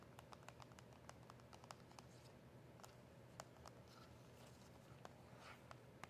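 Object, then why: Small cardboard box. Long acrylic nails tap the back and sides of a small, hollow cardboard box of press-on nails. Quick, light, sharp clicks come in an uneven patter over a steady low hum, each tick dying away almost at once.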